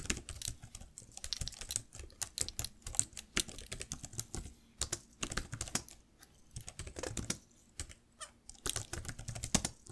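Fingertips and nails type fast on the plastic keys of a black laptop keyboard. The result is a dense run of sharp, bright clicks and clacks with quick decays over a faint low hum.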